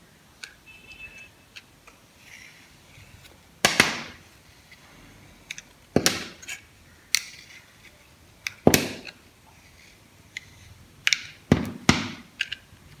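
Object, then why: Bar of soap cut with a metal blade. A metal box-cutter blade shaves and slices thin layers off a hand-sized dry bar of solid soap, painted on the outside and pale green inside, held in the palm. A series of short, crisp, bright scraping and crunching strokes is heard, with several louder slices standing out against near silence.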